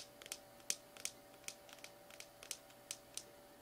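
Fingernails scratch and tap the side of a small plastic slime tub, then move up near its purple plastic lid. About eleven quick, bright, clicky taps come at an uneven pace, each dying away almost instantly over quiet scratching and a faint steady hum.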